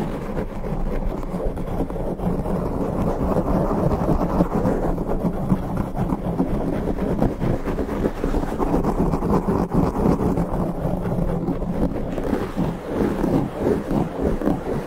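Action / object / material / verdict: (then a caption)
scrape / foam microphone windscreen / foam / none. Both hands grip a black foam windscreen on a standing microphone, rubbing and squeezing it with the fingers. A steady, dense, muffled scrubbing rumble results, heavy in the lows with almost nothing bright, continuing without a break throughout.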